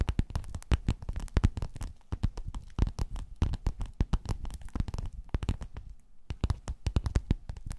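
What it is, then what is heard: Quilted faux-leather cover tapped and scratched with nails. Long nails tap and scratch across a flat, padded, gold quilted metallic faux-leather cover. The result is a rapid, irregular run of short, dull, low thumps with soft scratchy brushing between them. The sound pauses briefly near the end before the tapping resumes.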